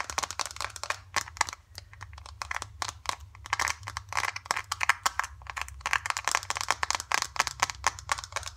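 A small, flat, filled green foil-laminate face mask sachet is held in the hands and tapped and crinkled with long dark acrylic nails and fingertips. Rapid, crisp clicks and crinkles come in quick bursts with a bright edge and almost no ring. A faint low hum sits steadily underneath.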